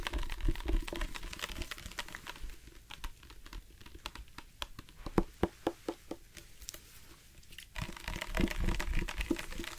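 A dark plastic sports water bottle with a loop cap, hollow and partly filled with water, is tapped with the fingertips on its side and cap. Quick, soft, dull taps come about four times a second, with faint plastic crinkling. The sound is busier and louder at the start and end, with sharper, separate clicks in the quieter middle.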